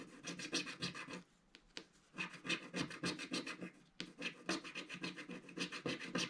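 A wooden stick scratches fine lines into the coating of a flat, solid, black-coated scratch-art card page. Quick, bright, dry scraping strokes repeat in a steady rhythm, broken by a short pause about a second in and another near the four-second mark.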